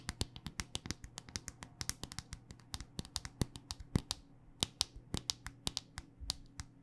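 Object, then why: Smartphone in a rugged hard-plastic case. A handheld smartphone in a solid black rugged hard-plastic case is tapped with long dark-painted nails. About 38 quick, crisp clicks with bright, dry attacks come in an uneven, rapid rhythm over a low steady hum, each dying away almost at once.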